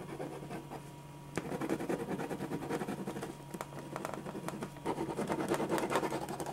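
A black pen held in the fingers scratches and hatches lines across a thin white paper sheet lying flat on a dark surface, while the other hand holds the sheet still. Quick, irregular, dry scratching strokes come in bursts that grow busier and louder toward the end. A faint steady low hum sits underneath.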